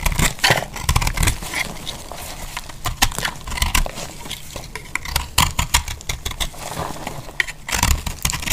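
A metal utility knife blade cuts and shaves a solid, dry, orange-speckled heart-shaped soap held in the hand, breaking off chunks. The sound is a rapid series of crisp, dry scrapes and bright crackling snaps, with a low, dull thump beneath them.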